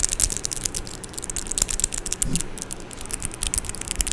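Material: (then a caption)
Metal. Long orange acrylic nails tap and scratch on the metal mesh grille of a Blue Yeti microphone, close up. Rapid, irregular bright clicks and scratchy rasps cut through a steady low rumble, each tap dying away almost instantly.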